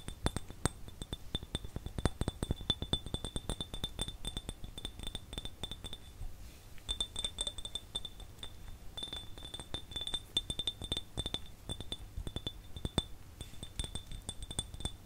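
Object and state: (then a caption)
Empty glass jar. A small, empty, clear glass jar with no lid is held and tapped rapidly with the fingertips and nails, including on its thick glass bottom. The result is a dense, steady stream of short, bright glassy clinks with a high ring over a low, hollow thud. The tapping briefly thins out midway, then continues.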